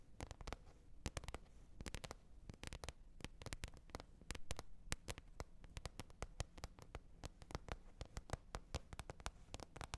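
Long red nails tap quickly and irregularly on a green plastic container lid over ten seconds. The result is a dense run of sharp, bright, clicky taps that die away at once, over a faint low rumble.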